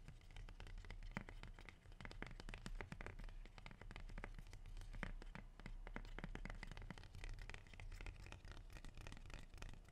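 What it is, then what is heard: Rubber plant leaf. A large, dark green, glossy, leathery rubber plant leaf is held in one hand and scratched quickly along its surface with fingernails. The result is a dense stream of dry, crackly scratching clicks over a steady low rumble, continuing without a break for about ten seconds.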